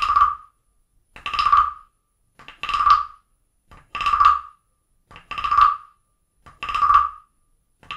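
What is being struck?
Carved wooden frog guiro scraped with a stick.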